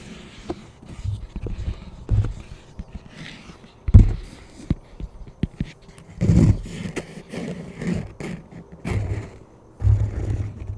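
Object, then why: Plastic flying disc. A plastic flying disc is held over a microphone while a palm and fingers rub and tap its surface and rim. Soft, irregular scraping and brushing mixes with dull, low thumps, some of them sharper and louder. The taps die away quickly between the rubbing passages.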